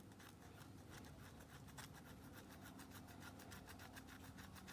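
A thin pink stick, likely a nail file, rapidly scrapes and files the edge of a solid white Dial bar soap with its logo visible, held in a blue-gloved hand. A quick, steady train of dry, bright rasping strokes runs throughout at an even level, over a constant low hum.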